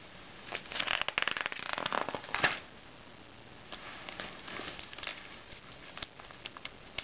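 Fingertips slide along the pages of an open glossy paper Self magazine and turn them one by one. Bright, crinkly paper rustles and snaps fill the first two and a half seconds, then settle into a softer, hushed sliding broken by occasional crisp flicks of pages.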